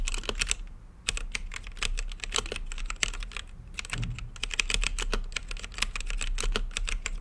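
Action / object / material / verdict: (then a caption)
tap / plastic mechanical keyboard with acrylic case / plastic / none. Fingertips type continuously on a plastic mechanical keyboard with plastic keycaps on a translucent acrylic case. Rapid, short, bright clacks come in a steady stream with little ring, over a constant low hum, with a brief lull just before the four-second mark.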